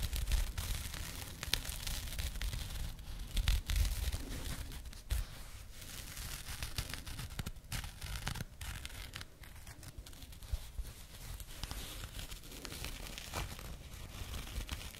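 Long nails scratch and rub a small burlap jute pouch held close to the microphone. The result is a continuous, irregular rough rustle with bright, crackly scratches over a heavy low thump from the close handling, and brief louder swipes break through the steady texture.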